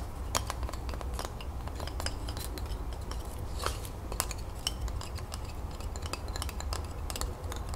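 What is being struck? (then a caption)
Bundle of wooden twig pencils. Long fingernails rapidly tap and scratch the cut wooden ends of a hand-held bundle of twig colored pencils. The result is quick, bright clicks and scratchy ticks over a steady low background hum.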